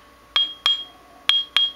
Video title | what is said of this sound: How to test a grinding wheel for cracks | you can hear it's got kind of a ringing sound to it so that's a good one